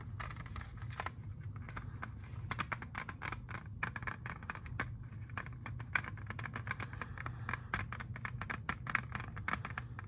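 A hand-sized, hollow clear plastic jewel case holding an Xbox 360 disc is tapped and scratched with fingernails. Rapid, bright clicks and short scratchy strokes sound over a steady low hum, each tap dying away almost at once.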